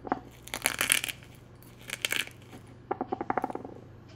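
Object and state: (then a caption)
Crushed eggshell fragments. Fingertips press and crush thin, brittle brown-and-white boiled-egg shell fragments against the inside of a small pale ceramic egg cup held in the other hand, with a loose shell piece resting on a bamboo board. Bright, sharp crackles and clicks come in three clustered bursts, short and dry with almost no ring, over a faint low hum.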